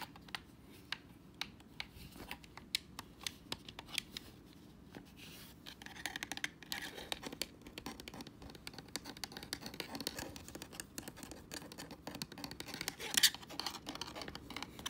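Pink fingernails tap and scratch the shell, back and grips of a hand-sized, hollow white plastic Xbox controller lying on a leather couch. Sharp, bright clicks come in quick, dry bursts over a thin scratchy hiss. The scratching grows denser and louder from about six seconds, with the strongest tap near thirteen seconds.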